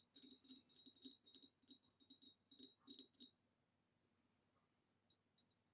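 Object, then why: Ribbed glass vase. Long nails tap the rim and sides of an upright, hollow, empty ribbed green glass retro vase. Quick bursts of bright, high-pitched clicking taps come over the first three seconds with very short ring. After a quiet pause, a few lighter taps follow near the end.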